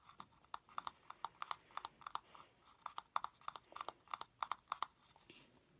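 Fingernails tap the lid of a small, hollow blue plastic cylinder container held in one hand. The result is a quiet, irregular run of sharp, dry clicks centered around 1 kHz, with almost no ring and no low end.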